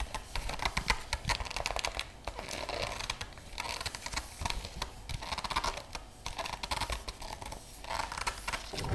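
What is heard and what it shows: Long nails tap and scratch the front of a large, closed hardcover Van Gogh art book with a printed paper-over-board cover, held upright in both hands with metal rings worn on the fingers. Quick, dense clicks and dry scratches come in bursts with short pauses between them, each tap dying away almost at once, over a low hum.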